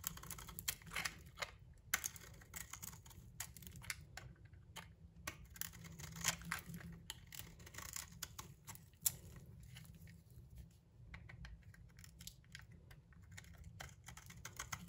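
A solid, bright green, palm-sized soap bar held in the hand is scraped and shaved with a metal utility knife blade, producing fine shavings. Quiet, rapid, crisp scratching and ticking strokes with a bright, papery edge run throughout, over a steady low rumble.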